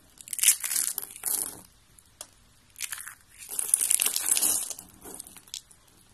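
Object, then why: Thin rolled soap curls. Fingers with red nails squeeze and crumble thin, rolled blue and orange dry soap curls, making dry, crisp crunching and crinkling. The bursts of brittle, high-pitched crackle come in several clusters separated by short pauses.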